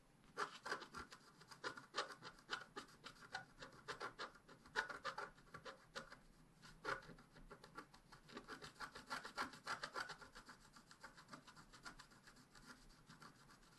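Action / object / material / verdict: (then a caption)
scrape / black-coated scratch-art paper scratched with a wooden stick / coated paper / none. A wooden stick repeatedly scratches small areas of a black-coated scratch-art paper page held flat by hand. Quiet, quick, uneven strokes make dry, bright rasping scratches about three times a second, each ending almost at once. The scratches carry a gritty edge centred around 1.5 kHz, with almost no low end.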